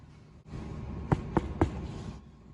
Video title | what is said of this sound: How to Make Challah | it sounds hollow. If you come close, maybe you can hear it. That's how it should sound.